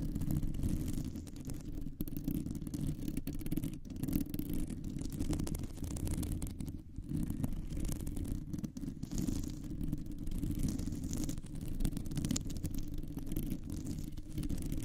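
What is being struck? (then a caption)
Metal mesh microphone grille. Long nails scratch and tap on a round, hollow metal mesh microphone grille. The result is a continuous, dense, rumbling scrape, heavy in the low end with a faint bright hiss above it, that keeps a steady level throughout.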